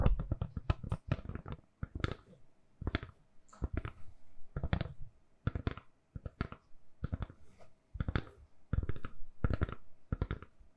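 Long nails tap and scratch a hand-sized, solid, lilac silicone-covered phone case fitted on a phone. The result is quick, irregular clusters of soft, dull taps with a low thump and bright clicky edges, mixed with brief scratchy strokes and short quiet pauses.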